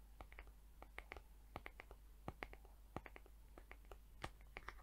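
Long acrylic nails tap and scratch the flat back of a mint-green plastic hair brush head with rainbow plastic bristles. Around twenty short, sharp, bright clicks come at an uneven pace, with faint scratching between them. A steady low hum runs underneath.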